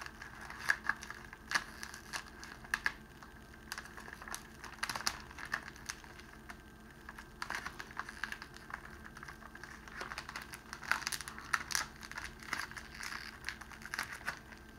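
A clear cellophane wrapping sheet is held in both hands while the fingers fold and crumple its end. Dense, dry crinkling and crackling are heard, with sharp, bright snaps rising above a soft, steady rustle. Louder bursts come in clusters throughout.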